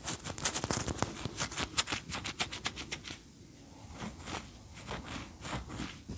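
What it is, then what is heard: Wax pillar candle. Long fingernails tap fast on a large, upright cream pillar candle of solid wax, producing dry, bright, clicking taps. The taps come in a quick, uneven burst for about three seconds, then turn softer and sparser.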